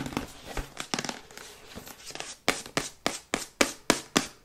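Long white acrylic nails tap rapidly on a glossy printed cardboard Yeti microphone box, held upright and then tilted. The first half is a quick, irregular patter of light, dry clicks and crinkly taps, followed by seven evenly spaced, sharper taps with a hollow cardboard knock and almost no ring.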